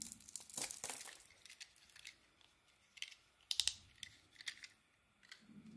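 A metal blade shaves a solid oval yellow Elkos soap bar with a white core. The result is a series of crisp, dry scraping and crinkling strokes, bright and high with almost no low end. Louder bursts come early and around the middle, separated by quiet gaps.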